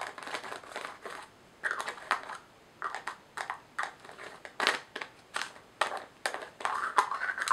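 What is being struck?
Small filled glass jar with plastic lid.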